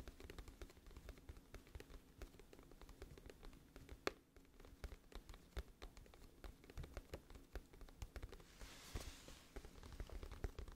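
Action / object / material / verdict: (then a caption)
tap / cardboard album case / cardboard / none. Long nails tap the front of a glossy printed cardboard music album case, hollow and flat, held in both hands in front of the mic. The result is a steady stream of quiet, dry, hollow clicks with very short decay and a low, muffled body, with a brief brighter rustle near the end.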